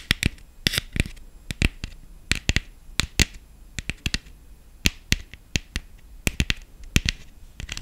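Long fingernails tap quickly and irregularly on the ribbed body of a black hollow plastic decorative pumpkin covered in gold glitter. Each tap is a short, dry, bright click with no ring, and the taps stay separate over a low, quiet background.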